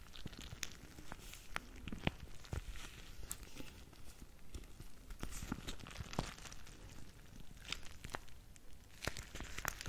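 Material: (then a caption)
Plastic. A clear plastic bag full of small red gel or water beads is held in front of a microphone and squeezed and crinkled with the fingers and long nails. Steady soft crinkling and rustling of the plastic is heard, dotted with sharp, bright crackles and clicks over a low, bumpy rumble of the beads shifting.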